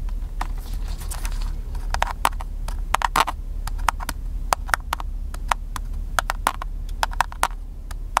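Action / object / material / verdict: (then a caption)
tap / plastic handheld camcorder / plastic / none. A small black handheld plastic camcorder with a hollow body is held in one hand and tapped with the fingertips of the other. Quick, dry, hollow plastic taps with a midrange knock come in irregular bursts and die away at once. A steady low rumble runs underneath.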